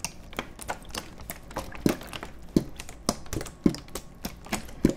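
An empty, hollow, clear plastic (PET) water bottle is held horizontally in both hands and squeezed and crinkled with the fingertips close to the microphones. The result is a steady, irregular stream of dry crackles and taps, with sharper, louder pops at uneven intervals over a quiet, close background.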